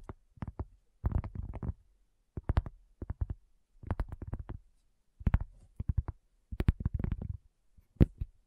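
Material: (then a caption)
Cork. Long fingernails of both hands tap a round, flat, solid cork coaster in quick, irregular bursts separated by brief pauses. Each tap is a dull, low thud with a short clicky tip that dies away almost instantly, and the rapid flurries blur into soft drumming.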